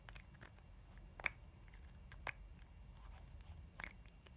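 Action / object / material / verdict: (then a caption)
tap / plastic lip balm container / plastic / none. Long nails tap and scratch around the shell and seam of a hollow, pink, spherical plastic EOS lip balm container held in the hands. Three sharp, bright clicks stand out over soft, faint scratching and a low background rumble, each dying away almost instantly.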